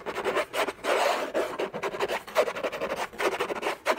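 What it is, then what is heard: Cardboard box scratched with fingernails. Short fingernails rapidly scratch the hollow lid of a large, flat orange Hermès cardboard box. The result is a fast, irregular run of dry, rasping scrapes and rubs, centered in the midrange with some bright hiss and no low end. Each stroke stops dead with no ring.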